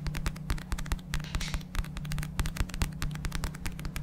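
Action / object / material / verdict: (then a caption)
tap / paperback book with paper cover / paper / none. A small black paperback book is held close to the mic while fingertips and nails rapidly tap and scratch its paper cover. The result is a dense, uneven run of quick, dry taps with crisp bright clicks over a soft low thump, each one stopping almost instantly.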